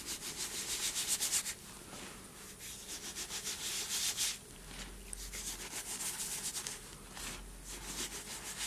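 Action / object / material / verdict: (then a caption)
scrape / cornstarch and gym chalk powder in a bowl / powder / none. Fingers rub through a bowl of loose white cornstarch and gym chalk powder and let it pour down, making a soft, grainy rubbing hiss. The sound is bright and airy, coming in quick, uneven strokes with brief quieter lulls between bursts of rubbing.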